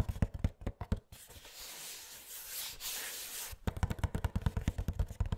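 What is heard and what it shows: Fingernails tap and scratch the cardboard sides of a small Funko Pop box with a plastic window and a figure inside. Quick, dull, low taps come first, then a stretch of soft, bright scratching, then another run of rapid irregular taps.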